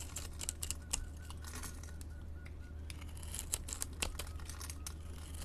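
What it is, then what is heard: Glycerin soap bar being cut. A utility blade scrapes small cubes off a solid orange translucent glycerin soap bar with pink glitter, scored in a grid pattern and held in a hand with long painted nails. Quick, dry, crinkly scraping and crackling clicks with bright high edges sound over a low steady hum, with sharper snaps standing out at intervals.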